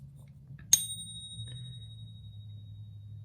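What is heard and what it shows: A 2017 American Silver Eagle coin is pinged once, giving a single bright strike followed by a long, clear high ring that sustains to the end of the clip over a low background hum. Its resonance sounds very similar to a 2016 coin, consistent with real silver.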